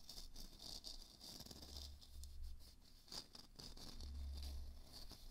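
A small glowing moon lamp, a hollow plastic sphere, is held and tapped with fingertips and nails. The quiet, rapid, uneven taps give short dull hollow thuds with crisp clicky ticks on top, each dying away almost instantly.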